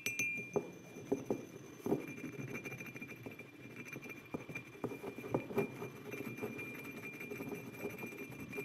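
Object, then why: Glazed ceramic mug. Fingertips and short nails of both hands tap the sides of a hollow white glazed ceramic mug with a printed orange-yellow design, standing upright on a wooden table. The taps are quiet, quick, glassy clinks with a pitch around 400 Hz that die away almost at once. They come in an uneven, continuous patter.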